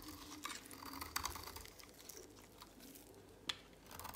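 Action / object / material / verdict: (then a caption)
scrape / soap bar shaved with a blade / soap / none. A utility knife blade shaves flakes off the edge of a dry, oval, solid pink soap bar held in a hand with long pink nails. Quiet, dry, bright scraping crackles and crisp ticks come in quick, uneven bursts, with a few sharper snaps standing out. Each sound dies away almost instantly.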